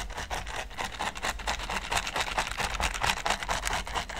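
A hand-held green silicone pastry brush is brushed and scratched across a large, flat red silicone baking mat covered in small pyramid studs. It makes a continuous, dry, rasping scrape with quick strokes at roughly two per second, bright and hissy across the highs with little low end.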